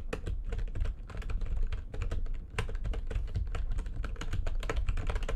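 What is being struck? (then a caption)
Plastic computer keyboard. Both hands with long nails type quickly on a full-size plastic backlit computer keyboard, producing a dense, steady stream of short, crisp key taps. Each tap has a bright clicky edge over a low, thumpy body and dies away almost instantly.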